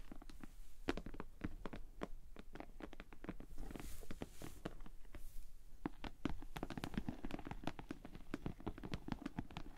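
Long nails and fingertips tap and scratch the top, sides and front of a hollow pink glossy PVC cosmetic bag with a bow, standing upright on a table. A quick, steady stream of soft, dull taps with tiny crisp clicks is heard, mostly low in tone and dying away instantly. Brief airy scratching swishes come in around the middle.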